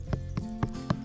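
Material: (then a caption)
Earth. Four knocks on an earthen termite mound in the Australian outback sound as short, low, hollow thuds centered near 120 Hz, each dying away almost at once. The mound rings hollow, as expected with termites living inside.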